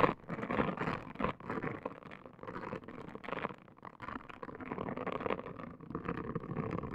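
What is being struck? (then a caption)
Silicone scalp brush. A pink, palm-sized silicone/plastic scalp brush for hair washing, with a hollow dome and bristles, is rubbed and scrubbed on a woven placemat by a hand with long green nails, which also scratch its top. The result is a steady, dry scratching and scraping texture, concentrated in the low-mid range, that swells and dips in uneven bursts as the strokes change.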